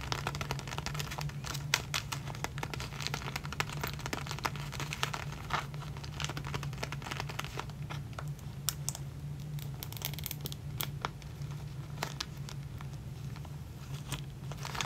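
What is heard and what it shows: A clear plastic zip bag full of clear elastic hair bands is handled and crinkled with the fingers, ending at the zipper edge. A steady stream of soft, bright crinkles and sharp crackles runs throughout over a constant low hum.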